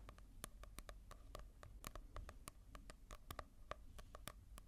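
Fingertips tap and scratch across the glossy cover of a manga volume, as a comparison with a matte-covered one. About two dozen quick, dry, crisp clicks fall in an uneven rhythm, each dying away almost instantly over a faint low background hum.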